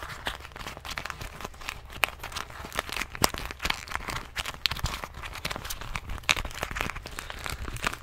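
A small rubbery plastic medicine bottle with a white cap is held in one hand and tapped and squeezed with fingertips and nails. The result is a dense, continuous run of quick, bright crinkling clicks and crunchy taps with no ring, over a low steady background rumble.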